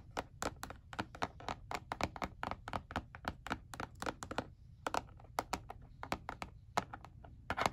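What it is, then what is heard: Plastic calculator back tapped. Fingernails and fingertips tap and scratch the back of a black hard plastic calculator lying face down, its hollow casing giving back dozens of quick, dry clicks that each die away almost instantly. The uneven taps have a hollow midrange knock with a bright edge, with a brief quieter stretch of soft scratching near the middle, all over a steady low rumble.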